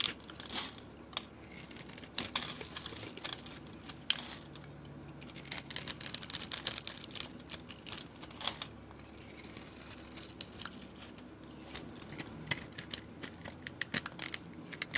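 A solid purple soap bar with a copper-colored coating is cubed and scraped with a utility-knife blade. Dense, quiet, bright crackling scrapes and crisp little clicks run throughout, with sharp louder snaps as pieces break away.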